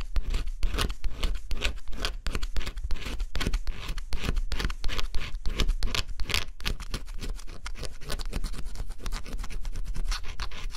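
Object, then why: Cardboard puzzle pieces with scratch-off coating. A stylus scratches the coating off thin cardboard pieces of a scratch-off jigsaw puzzle in quick strokes. It makes a steady run of rapid, dry scratching bursts with a gritty, bright edge over a low, close-up rumble, and each stroke stops short with almost no ring.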